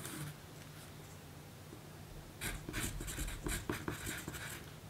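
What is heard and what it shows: A graphite pencil writes on a small, thin pink paper note card resting on a table. A brief scratch at the start gives way to near quiet, then a run of dry, papery scratching strokes follows for the last half of the clip, bright and hissy over a steady low hum.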